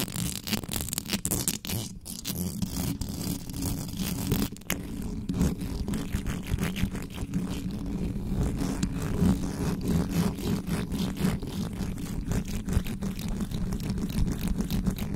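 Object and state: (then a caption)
Metal microphone grille being scratched. Fingertips and nails rapidly scratch the hollow metal mesh grille of an uncovered microphone. The result is a dense, continuous run of quick scraping strokes with a heavy, boomy low-end rumble and faint bright crackle above, staying steady throughout.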